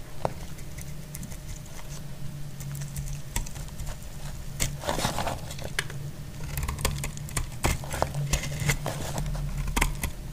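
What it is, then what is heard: Dry bar soap being scraped. A solid, dry cream bar soap held in the hand is scraped and cut into flakes with a utility-knife blade. Short, crisp scraping and snapping clicks come at an irregular pace over a steady low hum, with some brief brighter bursts as the flakes come away.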